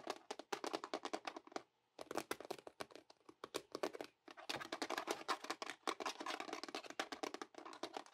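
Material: Plastic.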